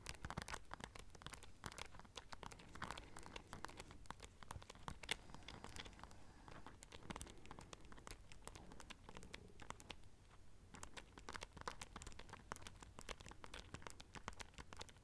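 Long nails scratch and tap across a small black clutch pouch covered in silver studs, held up close to the mic. The result is a dense, continuous run of quick, bright clicks and crinkly scratching over a low rustle, with no ring after each tap.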